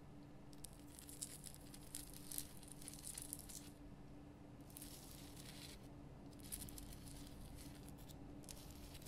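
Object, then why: Rock-salt lamp. Long painted nails scratch the rough surface of a large, solid, lit pink rock-salt Himalayan salt lamp. Soft, bright, dry scratching and crackling comes in repeated passes with brief pauses between them. A steady low hum runs quietly underneath throughout.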